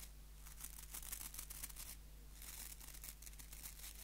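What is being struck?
Wooden nail brush with plastic bristles.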